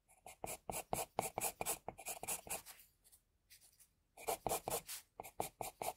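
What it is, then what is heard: Pencil strokes on drawing paper. An HB pencil held in a metal extender draws short, scratchy strokes across a flat white drawing paper sheet. The strokes come in quick, uneven bursts with a bright, papery rasp, fade to faint strokes around the midpoint, then return as a strong run of strokes.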